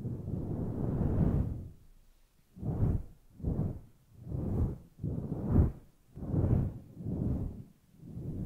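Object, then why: Synthetic fur microphone windscreen. Long nails gently scratch and stroke through a grey, fluffy synthetic-fur microphone windscreen. The result is a series of soft, muffled, low swooshing brushes that swell and fade one after another, with almost no high or bright content.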